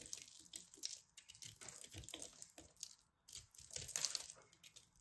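A solid blue pressed soap ball is scraped and cut with a craft knife, and crumbs fall off. Quiet, bright, dry crackling scrapes come in rapid short bursts, with a crisp crumbly texture and almost no low end.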